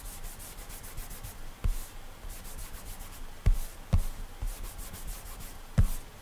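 Bare fingertips rub and swipe repeatedly across the solid glass touchscreen of an iPad while drawing in an app. The result is a soft, steady rubbing hiss with bright swishes of each stroke. Five brief low taps of the finger on the glass stand out over it.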